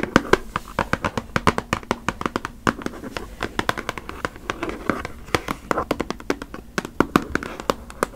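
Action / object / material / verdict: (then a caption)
tap / cardboard tissue box / cardboard / none. Long nails tap and scratch the sides of a hollow, cube-shaped, printed cardboard Puffs tissue box full of tissues. About fifty crisp, dry taps come in a quick, uneven run, each dying away almost at once, with faint scratching between them.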